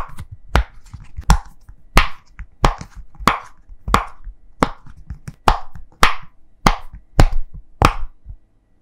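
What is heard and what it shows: Both thumbs press rows of hollow bubbles on a thin, heart-shaped rainbow silicone pop-it toy held in both hands, popping them through. Thirteen short, sharp pops sound at a roughly steady pace, each a dull low thump topped by a brief bright click that dies away almost instantly.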